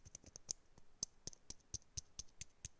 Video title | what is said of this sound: Will the pin cushion get finished today?! | when I tap it can you hear that there's something at the bottom